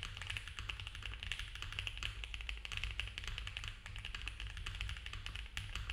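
A compact mechanical keyboard with cream ABS keycaps on a dark case, with a polycarbonate plate and foam filling, is typed on fast with the fingertips of both hands. The result is a dense, continuous run of rapid plastic key taps, bright and clacky on top over a steady low hum.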